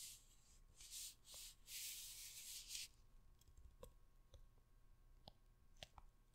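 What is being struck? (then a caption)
Hardcover book with paper cover. Long red nails scratch and rub the printed paper cover of a large hardcover book held close to the microphone, making bright, hissy bursts of scraping for the first few seconds. Then the nails tap the cover in a loose, uneven series of short, dry clicks with little ring, over a quiet background.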